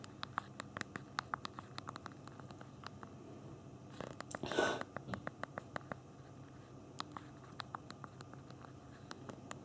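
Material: Plastic.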